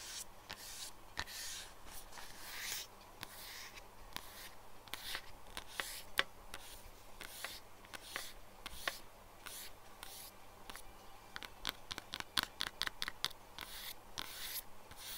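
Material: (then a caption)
Silicone. Fingernails rub and scratch the back of a pink silicone phone case fitted on a phone lying flat on a desk. Soft, bright scratching swells are broken by many short, sharp ticks, over a quiet, steady low hum.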